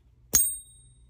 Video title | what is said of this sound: Someone sent me a MYSTERY BOX of coins and silver! What is it?! | triple nine sounds a lot different than like a 90 coin